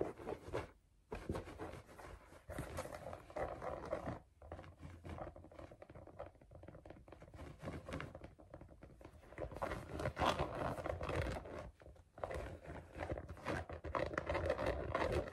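Long nails make quick pattering taps and scratches on the tufted pile of a small, soft, thin, solid red and green strawberry rug lying on a lap. The sound is a dense, muffled patter with scratchy texture, mostly low and mid tones around 500 Hz and little brightness. Short pauses break it up near 1, 4 and 12 seconds.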